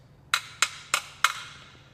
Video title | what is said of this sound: HOW TO QUIET YOUR NOISY EXHAUST FOR 5$ | you hear how it doesn't ring anymore it's because we got resonating material in there